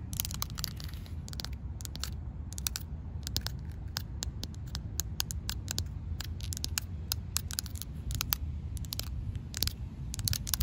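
Long, black, pointed fingernails tap and scratch a large, solid slab of rough outdoor concrete, tips held straight down. Quick, sharp, bright clicks and short scrapes come in an irregular stream over a steady low rumble, each tick dying away at once.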